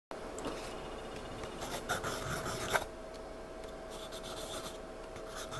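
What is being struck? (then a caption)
Pencil on paper sketchpad. A hand holding a wooden pencil rubs and scribbles on the page of a spiral-bound paper sketchpad lying flat on a surface, shading a dark area. The pencil lead makes a continuous soft scratching and rubbing on the paper, with a few brighter strokes standing out around the middle and a faint steady tone beneath.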